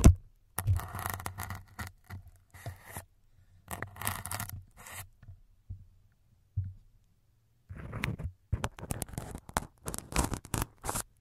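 A thin syringe needle repeatedly pokes the white foam windscreen covers on a microphone's capsules while fingers hold the foam. Close, scratchy crackling and scraping bursts come with dull low thumps, broken by brief pauses and a longer quiet stretch before a denser run of pokes.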